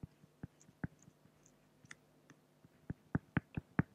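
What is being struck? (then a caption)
Acrylic plastic sheet. A pen makes drawing strokes on a flat, solid acrylic glass (plexiglass) sheet, producing 13 quiet, irregularly spaced taps and clicks. Each is a short, dry knock with a low body and brief bright ticks, and the strokes grow louder toward the end.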